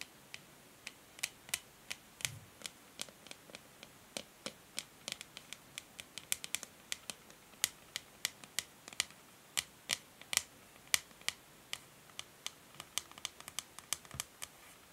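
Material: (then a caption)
Plastic. Long nails tap the hollow, matte grey plastic back of a hair brush in quick, irregular clicks. The clicks are sharp and bright, die away almost instantly, and carry over a faint hiss.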